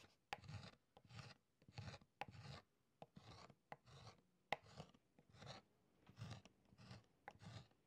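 A metal stylus scratches strokes into the wax of a beeswax writing tablet set in a wooden frame on a table, its surface already covered in incised letters. Short raspy scraping strokes come in a steady series with brief pauses between them. Sharp clicks mark the stylus meeting the frame or surface, and each stroke has a low rumble under a bright hiss.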